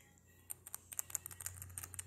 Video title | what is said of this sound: Mini Brands Series 4 opening with Gumdrop. She really loves these. #minibrands #minibrands | when you shake it you actually hear there's something in it